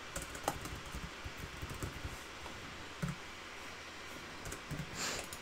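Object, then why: Plastic laptop keyboard. Fingertips on both hands type on a black backlit plastic laptop keyboard, with one hand still typing at the end. Quiet, repeated key taps click over a steady low hiss, and a brief brighter rustle swells near the end.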